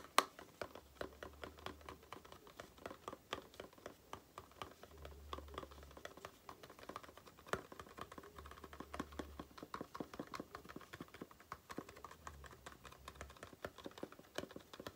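Long painted nails tap and scratch the sides of a small, hollow, printed green-and-white Aloe face-cream carton held in the hand. A quiet, steady run of many sharp, dry taps mixes with soft scratching rustle, each tap dying away at once. A faint low hum rises and fades underneath at times.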